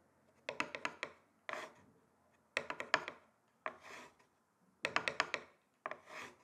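Two thin wooden sticks tap rapidly on the surface of a flat, solid, rectangular wooden chopping board. Three rounds of quick, dry, bright clicks each end in a short, airy scraping swish. The taps are crisp and short, with almost no ring.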